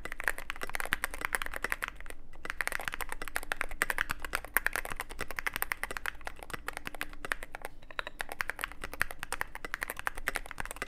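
Fingertip typing on a Cyberboard mechanical keyboard with plastic keycaps and a black aluminum case produces a steady stream of quick, dry clicks and clacks with a bright, crisp edge. A brief pause comes near the two-second mark before the fast, even typing resumes over a faint low hum.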